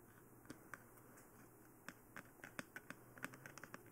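Long painted nails and fingertips tap and scratch the forehead and face of a life-size, glossy black plastic, mannequin-style dummy head; the head is hollow and houses a binaural microphone, making it the recording mic itself. About thirteen sharp, dry clicks stand out from a quiet hiss, sparse at first and then quicker and denser toward the end, each dying away almost instantly.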